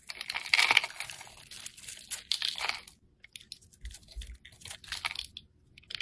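A snap-off utility knife blade shaves and scrapes curls and flakes off a solid oval bar of yellow soap stamped "AROMATICS," held in the hand. Bright, crisp crunching and scraping fill the first three seconds, then a brief near-silence gives way to sparser, shorter scrapes.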